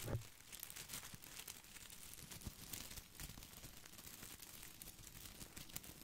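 Fingertips scratch and brush the glossy plastic leaves of an artificial boxwood ball close to the mic. The result is a steady, quiet crinkling rustle with bright, crisp crackles and soft low bumps, and a slightly louder brush right at the start.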